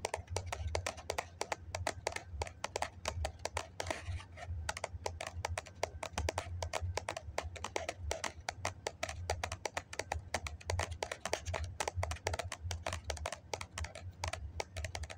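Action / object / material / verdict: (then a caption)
tap / foam cup / foam / none. A hollow white foam cup is held in both hands while fingertips and nails tap rapidly on its side wall. The result is a steady stream of quick, dry, clicky taps that die away almost instantly, with bright edges over a soft, low hollow thump. Around the four-second mark a brief, scratchy brushing sound briefly stands out.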